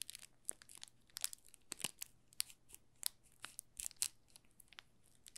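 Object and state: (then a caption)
Plastic film crinkling on a bar of soap. A palm-size green olive Marseille soap bar in a thin clear plastic film is held in both hands while fingertips rub and pinch the loose film. Quiet, bright crinkling and crackling come as short, sharp snaps scattered irregularly over a faint low hum.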